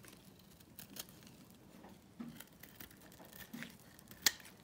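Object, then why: Bar soap scraped with a small metal blade. A small metal blade scrapes cubes and flakes off a solid, dry lilac lavender bar soap held in the palm. Quiet, dry, bright scratching and crinkling ticks come in short bursts, ending with one sharper, louder click near the end.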